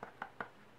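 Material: Leather.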